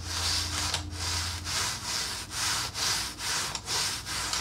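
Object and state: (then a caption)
Wooden accordion peg rack being expanded. A red painted wooden accordion peg rack is slowly expanded by hand, its slats sliding and rubbing against each other at the pivots. The result is a steady series of bright, hissy scraping strokes separated by brief dips, with a faint low hum underneath in the first moments.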